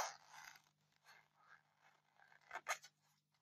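Long painted fingernails scratch and dig into the top surface of a solid white polystyrene foam block. The result is a series of dry, squeaky scraping strokes, bright and gritty, that start with a rough drag and then come in softer passes. Two sharper, louder scrapes near the end sit over a faint steady low hum.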